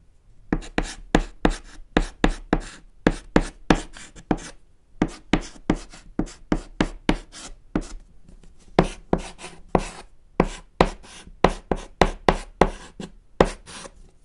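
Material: Chalk.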